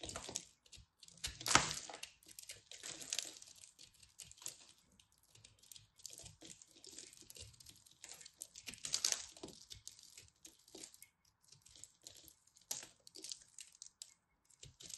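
A craft knife blade carves into a fist-sized, solid blue and purple ball of pressed soap flakes, which crumbles. The result is a quiet, bright run of dry crackling, scraping and crumbling ticks, with louder crunchy bursts near 1.5 and 9 seconds.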